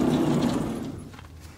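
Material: Nothing is struck.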